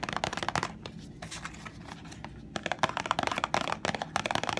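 Long nails and fingertips tap and scratch the flat sides of a small printed cardboard box of Sheer bandages, which is hollow and holds the bandages. Dense, quick clicky taps with brief dry scratching come in bursts, separated by a softer, quieter stretch in the middle.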